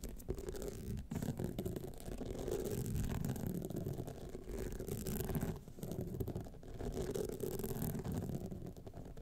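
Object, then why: Rhinestone-studded clutch wallet. Long nails scratch the sides and studded face of a gold rhinestone clutch wallet, making a continuous soft, low scratching and rasping texture. The sound runs steadily in dense, rough strokes, mostly low and muffled with little brightness.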